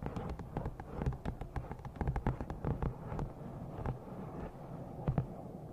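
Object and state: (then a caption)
Glossy paperback book. Long nails tap rapidly and unevenly on the cover and top edge of a thick black glossy paperback novel. Each tap is a short, dull knock, mostly low and heavy with a bright click on top, and it dies out almost at once. The taps come in quick bursts over a soft, steady background hiss.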